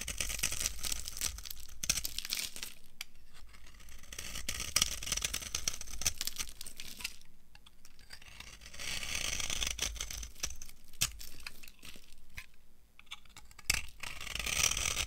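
A solid, dry yellow soap bar held in the hand is shaved with a metal knife, giving a steady run of dry, crunchy scraping and crumbly tearing. The sound is bright and hissy, with many quick, irregular scrapes and short pauses between strokes.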